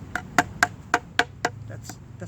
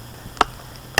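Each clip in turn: First: Six quick, dull knocks around 700 Hz on pine that sounds hollow where the inside has rotted away. Second: Two sharp, bright knocks with almost no ring: a dense, resin-soaked pine knot that sounds solid.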